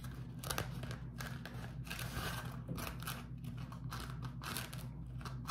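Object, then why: Beeswax-coated cotton food wrap. A beeswax-coated cotton food wrap is held close and waved and crumpled by fingers, producing a continuous run of crinkly, papery crackles and rustling bursts. A steady low hum sits underneath throughout.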